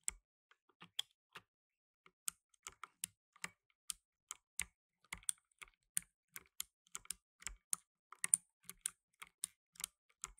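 Fingertips in blue nitrile gloves rapidly press the plastic keycaps of a black plastic tenkeyless mechanical keyboard. About 32 quiet, short, bright clicks sound in quick, uneven succession, each dry with almost no ring.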